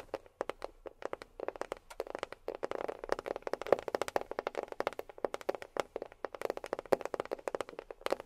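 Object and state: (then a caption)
Box tapped with fingernails. A box is tapped with long fingernails in quick, uneven bursts of about 55 short, clicky taps. Each tap is dry and stops almost instantly, with a hollow mid-range tone around 550 Hz and very little low rumble.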